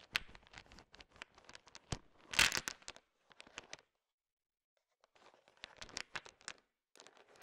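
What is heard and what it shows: A thin wooden stick stirs a large pile of small, solid, sugar-shell-coated chocolate M&M candies, so the candies click and rattle against each other. Quick, bright, dry clicks come in dense bursts with almost no low end, peaking in a louder clattering rush near the middle. After a short silence the stirring and clicking start again.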